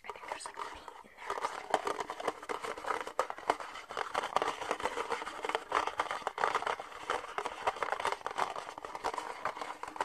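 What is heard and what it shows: An empty red disposable plastic party cup, hollow with thin ribbed walls, is held upright in both hands while fingernails tap and scratch its outer wall. The result is a steady flurry of quick, crisp clicks and crinkly scratches with a hollow plastic tone, centered in the midrange and with almost no low end.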